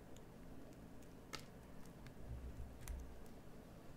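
A metal carving knife shapes a solid green bar of soap with scraping cuts. Soft, irregular scrapes and faint bright ticks sit over a quiet low rumble, with brief sharper clicks as the blade bites in.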